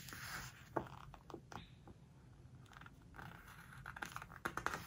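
Fingertips and long nails rub and scratch across the glossy paper pages of a large open home-decor hardcover book lying flat on a floral cloth, then turn the pages. Soft, papery scratching and swishing sweeps are broken by sharp, bright ticks and crinkles of the stiff pages.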